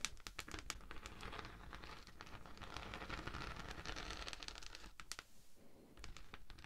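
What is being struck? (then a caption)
Thin textured beeswax sheet. A thin, flexible pink honeycomb-textured beeswax sheet, held flat near the mic, is scratched by long manicured nails of both hands. The result is a dense run of crisp, crinkly scratches and taps with sharp bright clicks over a constant soft rustle, easing briefly near the end.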